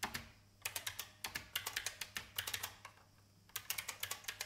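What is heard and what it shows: An old, full-size beige IBM plastic mechanical keyboard with a hollow case is typed on by fingertips with long painted nails. Bursts of sharp, bright, clacky taps with very short decay come in quick runs separated by brief pauses.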